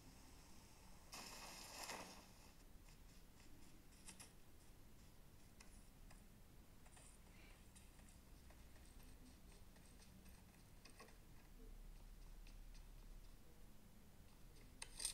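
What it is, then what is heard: Glass smartphone touchscreen. An iPhone 13 Mini, a small, solid device, is held sideways running PUBG Mobile while gloved thumbs tap quickly on its glass touchscreen. Quiet, dry, bright ticks sound over a low background hum, with a brief louder hissy burst near the start and a sharp click at the very end.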